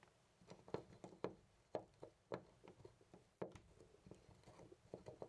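A hand grips a loose brass-colored metal knob on a white interior door and jiggles it in place. It makes an irregular run of quick, dry clicks and rattles with a metallic ring around 620 Hz. Each click dies away almost at once, and some are louder than others.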